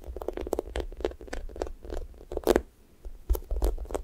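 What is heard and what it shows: Fingernails scratch the pink sticky top of a thick, soft, solid-foam strawberry toast squishy toy while fingers press it. The result is a run of quick, soft, scratchy crackles and sticky ticks over a low rumble, with a louder burst near the middle, a brief quiet pause, then more crackling to the end.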